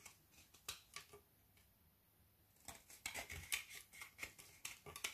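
A metal knife shaves and scrapes the edge of a frozen Milka milk chocolate bubble bar, now narrower and held in the hand, letting curls fall onto a wooden table. About 14 short, dry, bright scraping and crackling strokes are heard, with a quiet pause early on before the scraping picks up again.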